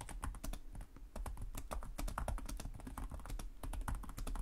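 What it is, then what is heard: Plastic laptop keyboard. Both hands type rapidly with their fingertips on the plastic chiclet keys of a black laptop with a hollow chassis. A dense, steady stream of short clicky taps follows, each with a dull low thump and a bright tick on top that dies away almost instantly.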